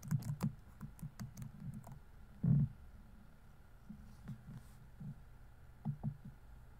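Fingertips rapidly tap the plastic keys of a laptop keyboard on a grey laptop body while typing. About 13 soft, low, dull clicks come in quick bursts with brief pauses. A heavier thump lands midway.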